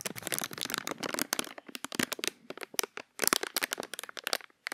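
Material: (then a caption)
Plastic. A small, thin, empty, hollow clear plastic bag is held in the fingers close to the microphone while the fingertips crumple and crinkle it. Dense, bright crackles and snaps sound with almost no low end, thinning into sparser pops before a brief pause near three seconds, then a fresh burst of crinkling.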